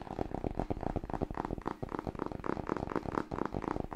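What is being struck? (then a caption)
Cloth-covered hardcover book. Long nails tap fast on the cover and spine edge of a large, solid, dark blue cloth hardcover copy of "Smashing Book 6". The result is a rapid, steady run of short, dull knocks with a warm, low-mid body around 300 Hz. Each tap stops almost instantly, with no ring.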